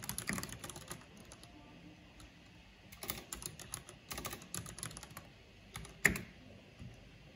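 Fingertips with long painted nails type on a black plastic backlit mechanical keyboard with hollow plastic keycaps. Quick bursts of bright, clicky keystrokes are separated by short pauses, with one sharper, louder clack near the end. Each click dies away almost instantly.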